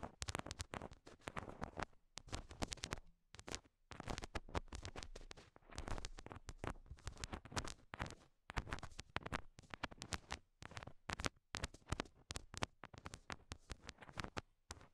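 Long nails tap repeatedly on small, solid pink rhinestone heart stickers stuck to the translucent silicone ears of a binaural mic. The result is a dense run of quick, crisp clicks and scratchy patters with very short decay and low thumps underneath, broken by brief pauses.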